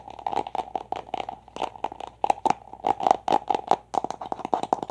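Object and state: Plastic toy egg.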